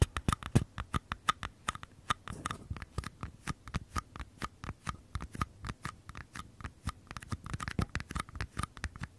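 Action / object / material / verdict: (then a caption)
tap / small paper cups / paper / none. Fingernails tap and scratch the outer walls of small, empty, hollow mini paper cups, one held on its side in each hand. About 47 quick, dry, papery clicks and taps come in a steady patter with light scratching between them. Each hit stops almost instantly with no ring.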